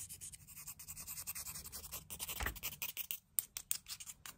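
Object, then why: Smooth painted river stone. A palm-sized, solid, smooth grey river stone with painted eyes and a smile is held in the hand while its surface is scratched and rubbed with the pointed tip of a wooden stick. It makes a quick, dense run of dry, bright scratching strokes with soft low rumbles beneath, ending in a few sharp isolated ticks.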